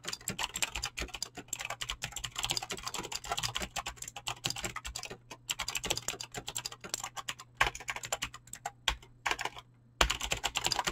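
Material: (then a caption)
Plastic. Fingertips type fast on a Razer BlackWidow mechanical keyboard with clicky green switches and pink-blue dyed PBT plastic keycaps. A dense stream of sharp, bright clicks and clacks rolls on, with brief pauses near the middle and just before the end, over a faint low hum.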